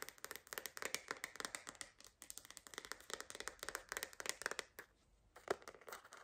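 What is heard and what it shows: A purple glitter plastic phone case with an iridescent rim, fitted as a hollow shell on a phone, is held in both hands and tapped with long green acrylic nails. Quick, light, clicky taps come in rapid, uneven bursts with a bright edge and almost no low end, each one dying off instantly. A short quiet pause comes near the end before a sharper tap and a few more.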